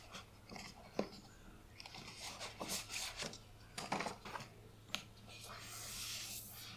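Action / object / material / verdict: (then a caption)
scrape / hardcover book with a glossy paper dust jacket / paper / none. A closed, solid hardcover book with a glossy teal paper dust jacket and foil print is held in both hands while long painted nails and fingertips rub and scratch its back and front covers. Bright, papery scratches and sharp nail clicks sound over a faint low hum, ending in a steady, hissy rubbing.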